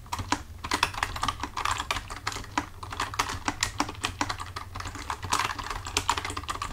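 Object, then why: Plastic computer keyboard. Both hands type with their fingertips on the keys of a full-size black plastic computer keyboard resting on a desk. The result is a rapid, continuous stream of short, bright clicks and taps with a clacky midrange around 950 Hz, over a steady low hum.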